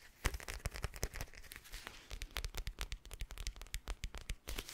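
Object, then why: Plastic eye mask filled with gel beads. A soft, palm-sized teal eye mask of clear plastic filled with gel beads is held close to the mic and tapped and scratched with fingertips and nails. A quick, uneven run of quiet taps gives dull low thumps, layered with bright crinkly clicks and scratchy rustle. Each tap stops dry and short with no ring.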